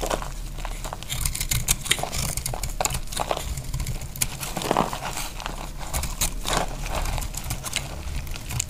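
A dry, solid beige soap bar held in the hand is shaved with a utility knife blade into crunchy flakes. The result is a steady run of quick, dry crackling and crunching scrapes with bright, crisp edges over a low background rumble.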